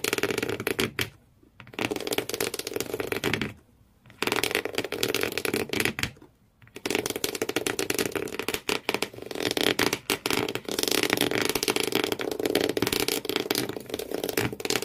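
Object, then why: Corrugated cardboard shoe box. Thumbnails scratch hard across the corrugated cardboard floor inside an empty cardboard shoe box, making dense, rapid, raspy scraping with a bright, papery edge. The scratching stops briefly three times early on, then runs on steadily and a little louder to the end.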